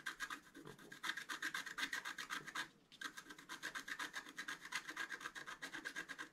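A thin wooden stylus scratches the black coating of a flat, thin, solid scratch-art card about A4 size, making dense short strokes around the flowers and antlers. A bright, raspy scratching repeats in quick strokes about four times a second, with a brief pause near the middle before it resumes.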